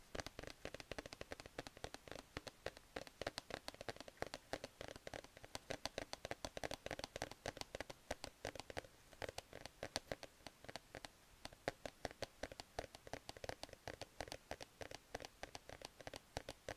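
A grey plush cat sleep mask on a cardboard header card, held in both hands, has its fabric scratched with fingertips and nails. The result is a quiet, steady stream of fast, dry scratching and crackling with short, sharp ticks and a bright fuzzy edge.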